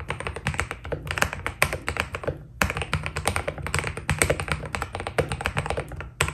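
Both hands' fingertips type continuously on a white Keydous NJ80 mechanical keyboard with PBT plastic keycaps, a steel plate and foam inside. The result is a rapid stream of short, crisp clicks and taps with a muted, thocky body and almost no ring, broken by one brief pause before typing resumes.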